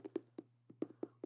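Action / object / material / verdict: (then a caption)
tap / hardcover book, board cover / cardboard / none. Fingers tap eight times on the hard cover of a hardcover cookbook, giving short, dull, mid-pitched knocks at an uneven pace. Each tap dies away at once, with a faint steady low hum underneath.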